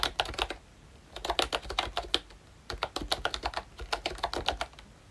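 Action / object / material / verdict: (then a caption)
tap / plastic membrane keyboard / plastic / none. Fingertips type on a ROYCHE Disney Mickey Mouse retro membrane keyboard: pink plastic, round keycaps, hollow body. About 28 light, clicky keystrokes come in three quick bursts separated by short pauses. Each is a bright, brief tap with a thin hollow plastic clack.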